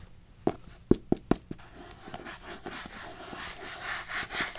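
Long nails rub and scratch a pink spiral-bound paper notebook, working over its paper cover and metal spiral edge. Five short, sharp ticks come first, then a dry, bright scratching that builds steadily louder toward the end.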